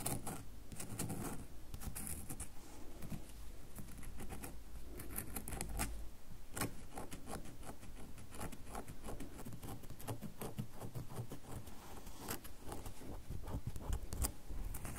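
Long nails scratch and tap the top and edges of a solid red bar of soap held in the hands. Dense, quiet patter of rapid clicks and scratchy rubbing runs steadily throughout, with short bright ticks over a low rumble.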